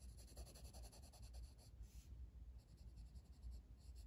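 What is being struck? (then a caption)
Wooden colored pencil on a paper coloring page. A blue wooden colored pencil, held in the fingers, is rubbed across a flat paper page of a coloring book lying on a table in quick shading strokes. The result is a quiet, steady run of soft, scratchy, bright strokes with a brief pause mid-clip, all over a low, faint rumble.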